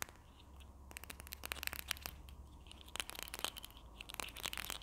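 A small hollow red and white plastic Berlingo glue stick is held in both hands, tapped and scratched with long nails while its cap is handled. Quick, sharp, bright clicks and scratchy crinkles come in irregular bursts over a faint low hum.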